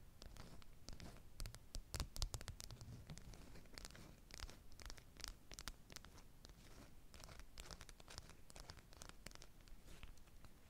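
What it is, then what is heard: Beeswax-coated cotton wrap. A small square of bee-print beeswax-coated cotton wrap, folded and held above a stack of identical wraps, is pinched, folded and crinkled by long natural nails and fingertips, the stiff waxed fabric rubbed between the fingers. A steady stream of quiet, dry crinkles and sharp scratchy clicks with bright edges sits over a soft low rumble, with brief louder crackles in places.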